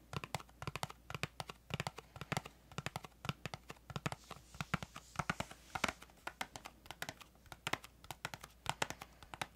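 Long acrylic nails tap and scratch a small, hollow, printed cardboard crayon box with a green flap. The result is a quick run of dozens of sharp, dry clicks and light scratching, each tap dying out almost at once, with a hollow papery knock beneath.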